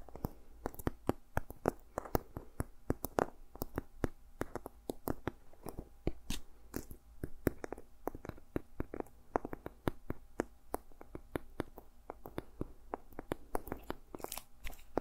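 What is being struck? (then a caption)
Journal with a dried seed pod cover. Fingertips and nails tap and scratch the cover and edges of a small, solid journal with a ridged, dried seed pod cover. Dense, irregular series of sharp, dry clicks and brief scrapes with bright transients. A steady low hum runs underneath throughout.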